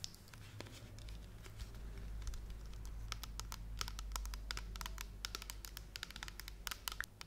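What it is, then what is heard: Plastic pump bottle tapped and scratched with nails. A large, pale blue plastic pump shampoo bottle, hollow and partly full, is held in both hands and tapped and scratched with long red acrylic nails. Quick, crisp clicks and bright scratchy ticks come in irregular bursts over a steady low hum. Each tap dies away almost instantly.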